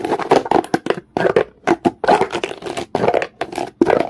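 A comb is scraped quickly back and forth across the surface of a solid, dark, rough stone. It makes a rapid series of short, dry, raspy scraping strokes with a gritty mid-range texture and a bright edge. Each stroke stops abruptly with no ring, and brief gaps separate the strokes.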